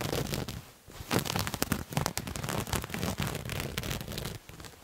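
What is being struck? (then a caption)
Cloth garment. A soft purple-and-white patterned cloth garment, bunched up and held in front of the mic, is scratched with fingernails. Dense, rapid crackling scrapes run through the clip, with brief quieter pauses between bursts. The texture is broadband, with a low rustle underneath and bright scratchy detail on top.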